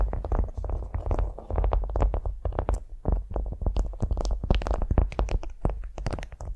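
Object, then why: Beeswax-coated cotton food wrap. Long nails scratch and tap a flat beeswax-coated cotton food wrap lying on a vinyl mat. The result is a dense run of short, crisp taps and crinkly scratches with a heavy low thump beneath them, each sound dying away almost instantly.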